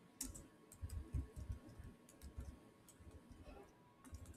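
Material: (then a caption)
Plastic. Two hands type fast with bare fingertips and short nails on a solid Samsung laptop keyboard with black plastic chiclet keys in a silver body. The result is a quiet stream of soft, low, muffled key taps with faint bright clicks, each dying away almost instantly.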